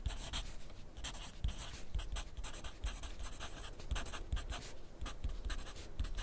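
A wooden graphite pencil is drawn across a thin grid paper sheet clipped to a flat clipboard on a desk while writing. Short, bright scratching strokes come in quick bursts over soft, low taps against the board, at a steady, quiet level throughout.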